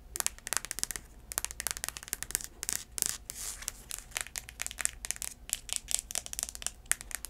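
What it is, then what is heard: Braided heeled sandal. Long acrylic nails scratch and tap the tan outsole and straps of a black braided heeled sandal turned upside down. Dense, bright clicks and scratchy bursts come in quick, irregular runs. There is little low end, and a faint steady hum sits underneath.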